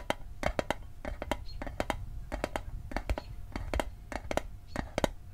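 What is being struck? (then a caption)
Small metal mint tin. Fingertips tap the lid and edges of a small, hollow, rectangular metal Altoids mint tin held in the hand. Quick, dry, clicky taps come in an uneven, fast rhythm; each one is short with bright edges and almost no ring. A faint steady tone and a low rumble sit underneath.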